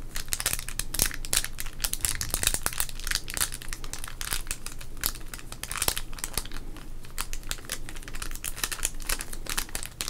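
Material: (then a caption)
Wax paper. A small sealed red 1991 Topps wax-paper baseball card pack, full of cards, is crinkled and rubbed with the fingertips of both hands. A dense, steady stream of bright crinkling and rustling crackles sounds for the whole clip, with sharper snaps standing out here and there over a faint low hum.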